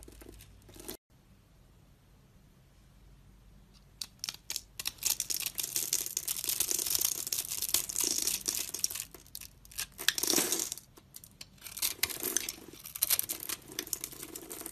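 A utility knife blade cuts and scrapes a solid tan rectangular bar of soap with a grid-scored face, held in one hand, into small cubes that crumble off. After a quiet first few seconds, dense bright scraping and crisp, crackly tearing sounds come in uneven bursts that rise and fall in loudness.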